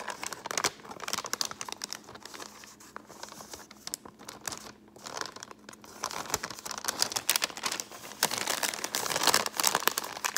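An empty brown kraft paper bag, held up, is crinkled and scratched with long painted fingernails, giving dense, bright, papery crackles and scrapes. The rustling eases to a softer, sparser stretch in the middle, then builds louder and busier toward the end, with a faint steady low hum underneath.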